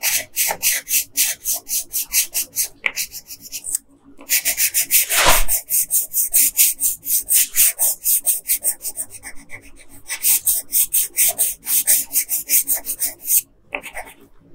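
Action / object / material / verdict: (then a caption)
scrape / colored pencil on a paper sheet / paper / none. A yellow colored pencil is rubbed back and forth over the lower hair area of a flat paper coloring page, making dozens of quick, bright, scratchy strokes. A brief pause comes near the four-second mark, followed by one longer, louder sweep before the rhythmic scratching resumes and ends with another short pause.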